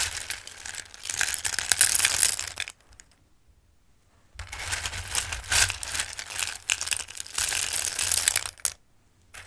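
Handfuls of raw dried shaped pasta are scooped and dropped back into a bowl, producing a bright, dense rustling and pattering of many small hard pieces. Two long bursts of clattering are separated by a short silent pause, and the clip ends with another brief quiet gap before a faint restart.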